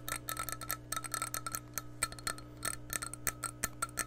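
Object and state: Glass measuring cup tapped.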